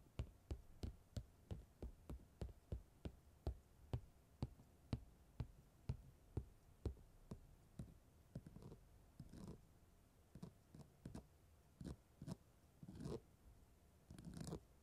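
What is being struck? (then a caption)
Comb scratched over chunky glitter fabric on a padded surface. A fine-toothed black comb is scratched and dragged across purple holographic chunky-glitter fabric stretched over a rounded padded surface. It begins with a steady run of short, sharp scratchy strokes, each a quick broadband rasp with a dull low thump beneath. It then shifts to slower, longer, irregular drags that sound softer and more rustling.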